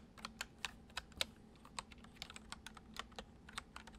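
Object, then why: Plastic computer keyboard. Fingertips of both hands type fast, repeated taps on a full-size white plastic computer keyboard with hollow keys resting on a wooden desk. About 15 short, dry, bright clicks come at an uneven pace, with a few louder keystrokes. A faint, steady low hum sits underneath.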